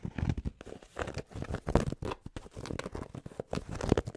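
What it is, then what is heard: Fabric baseball cap. Fingertips tap and scratch quickly on the hollow crown of a grey cotton Penn State baseball cap with a stiff brim, held near the mic. The sound is a dense run of soft, low, muffled thumps mixed with dry scratchy rustling. Each hit dies away at once, with no ring.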